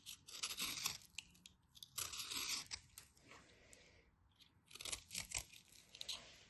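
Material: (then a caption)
Soap. A solid white bar of soap held in the hands is scraped and carved with a craft knife into powdery flakes. The strokes make quiet, bright, crisp scraping and crunching sounds in bursts of short rasps, with almost no low end.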